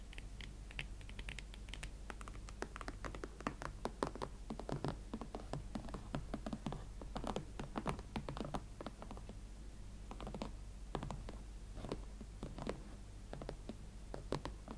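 A pair of hot pink smooth leather Valentino Club Platform ankle boots standing on a surface is tapped and scratched with long nails on the uppers and platforms. Quick, dry clicks and taps come in irregular clusters with soft scratching between them, over a steady low hum.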